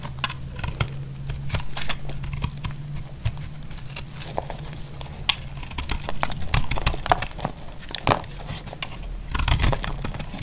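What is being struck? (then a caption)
Bar of soap shaved with a blade. A narrowing solid bar of dry pink soap, held in the hand, is shaved with a utility knife blade. It gives a steady run of crisp, crunchy scraping and crinkling cuts with brief, sharp peaks over a low, steady hum.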